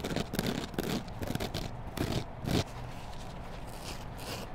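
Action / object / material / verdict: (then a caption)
scrape / foam kitchen sponge with green scouring pad / foam / none. A hand-sized, solid yellow foam kitchen sponge with a green scrub layer is rubbed and scratched with long black nails along its foam side and edges. Soft, dull scraping bursts come in an irregular rhythm, mostly low in tone with a little bright hiss. The strokes grow quieter and smoother toward the end.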